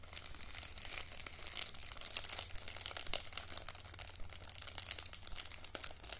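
Long nails crinkle a thin printed plastic face-mask sachet and scratch along its folded edge. The result is a dense, continuous crackle of sharp crinkles and scratches over a steady low hum for about six seconds.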